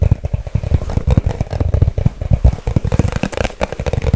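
A small, hollow white cardboard product box, held in both hands, is tapped fast with long acrylic nails. The result is a rapid, continuous stream of short, dry, low thumping taps with little ring.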